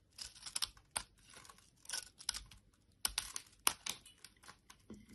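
A solid orange bar of soap held in the hand is scraped and shaved with a metal blade, producing crumbly shavings. The result is a series of short, dry, bright scraping and crackling strokes with quick gaps between them and almost no low end.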